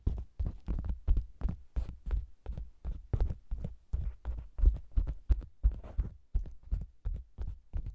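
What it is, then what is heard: Faux leather cosmetics bag tapped. Close, deep thumping taps on a round, hollow faux leather cosmetics bag with the microphone inside: its sides are tapped, then a flat hand with long nails taps and rubs its red top. The dull, low thuds come in quick, uneven succession, with soft brushing between some of them.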